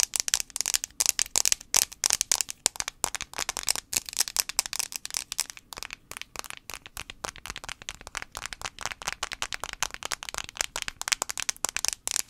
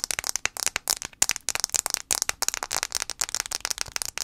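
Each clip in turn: First: plastic phone back. Second: fingernail tapping on a phone glass screen.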